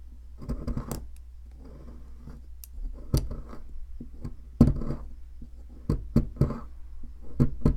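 A metal pick digs into and scrapes out the center of a solid, palm-sized white plaster dig block, loosening powdery plaster. Irregular gritty scraping is punctuated by sharp, bright clicks and scratches over a steady low hum.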